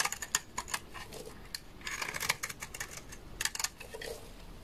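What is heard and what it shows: A utility knife blade shaves a large, solid, beige bar of dry laundry soap. The result is a quick series of crisp, bright scraping clicks and crackles, each stopping dry and short, with brief denser bursts of shaving in between.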